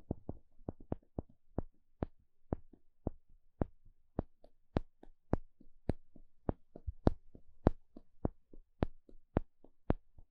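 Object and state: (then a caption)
Wooden paddle stick. A small plastic pick pokes and scratches a thin, solid, flat wooden spatula-shaped paddle stick. It makes about 22 short, dry taps in an uneven rhythm, each a low thump topped by a bright click that stops almost at once, with faint scratching between them.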